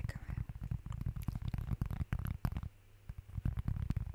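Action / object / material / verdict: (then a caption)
tap / round cork board / cork / none. A flat, round, plate-sized cork board or placemat, light brown, thin and solid with a textured surface, is held close up and tapped and scratched across its face with the fingertips and nails of one hand. The result is a rapid run of soft, muffled, low thumps with brief scratchy rustles and almost no ring. The tapping pauses briefly near the three-second mark before resuming.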